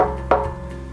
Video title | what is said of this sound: How Do I Know When I Need to Replace My Constant Pressure Tank? | When you get down to the water line, you're going to hear a solid sound.